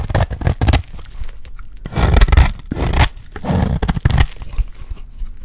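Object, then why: Dry bar of soap cut with a blade. A solid, dry light blue bar of soap is held in the hand while its edge is shaved into flakes with a metal utility blade. Repeated crisp, crunchy scraping cuts come in uneven bursts, each with a dry, gritty rasp and very little ring.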